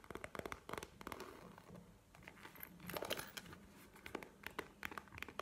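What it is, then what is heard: Faux leather wallet. A map-print faux leather wallet, held horizontally in both hands, is tapped and scratched with fingernails. Quiet, crisp taps and dry crinkling scratches come in quick bursts, with short bright clicks over a soft, low rustle.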